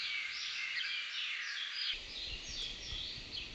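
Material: Nothing is struck.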